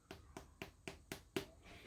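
A freshly fried yeast donut is tapped six times with a finger or a wooden chopstick, giving short, hollow, dry knocks with little ring. The really hollow sound shows the donut is properly cooked through inside.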